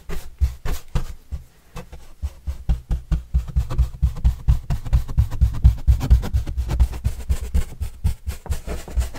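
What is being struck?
Corrugated cardboard pizza box.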